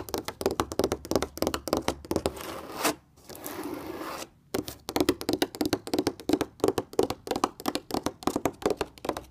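Long red-painted nails and fingertips tap and rub across a wall-hung stretched canvas painting in orange, yellow, red and grey panels, flat and thin and likely hollow behind. Dozens of quick, dry taps with a hollow midrange tone around 390 Hz die away almost instantly. A soft, continuous scratchy rubbing fills a stretch in the middle before the rapid tapping resumes.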